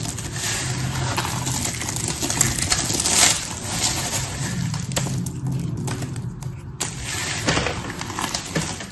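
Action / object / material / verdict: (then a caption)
scrape / pile of soap shavings / soap / none. Both palms push together a pile of crumbly, solid blue, pink and white soap shavings while fingers with long red nails squeeze and crush the pieces. A steady stream of dry, bright crackling and crunching runs throughout, with small clinking ticks over a soft low rumble.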